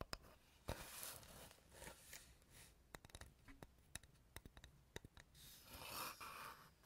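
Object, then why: Light wooden board. A solid, flat, rectangular light wooden board is held upright close to the recorder and tapped and scratched with fingernails and fingertips. Sharp, dry taps with almost no ring are scattered through the clip, between bright, hissy scratching passages near the start and the end. Everything is quiet and close-up over a faint low hum.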